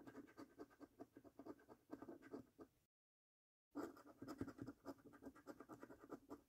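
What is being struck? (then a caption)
Paper scratch card with scratch-off coating, scraped by a coin. A coin gripped in one hand scratches the coating off the games section of a thin paper £1 Million Snack Stack National Lottery scratch card held flat by one fingertip. Quick, dry rasping strokes with a low tone near 270 Hz and a bright hiss come in two bursts, broken by a short silence just before the 3-second mark.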